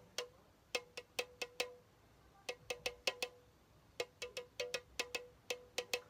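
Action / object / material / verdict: tap / aluminum soda can / aluminum / none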